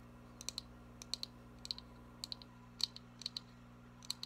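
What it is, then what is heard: Cardboard box tapped with nails. Long nails tap quickly on a small printed cardboard box, making 17 sharp, bright clicks in short clusters of two or three. A steady low hum runs quietly underneath.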